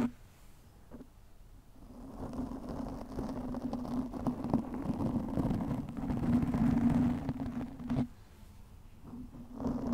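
Long nails scratch a soft, porous black foam windscreen over a microphone with both hands, producing a dense, muffled rustling scrape that swells louder through the middle of the clip. A steady low hum sits under the scratching, and the sound drops back abruptly near the end before building again.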